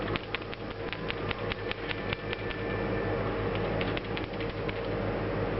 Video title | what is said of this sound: What Does a Good PCV Valve Sound Like? | you hear pretty clearly um the rattle there